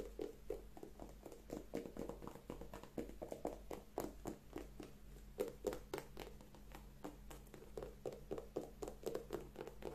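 An empty single white leather sneaker with a rubber sole is held in both hands while long manicured nails scratch and tap its upper and sole. Quick, irregular, soft taps and dry scratches follow one another at a brisk pace, each short and dull with a muted mid-range knock and no ring. A faint, steady low hum runs underneath.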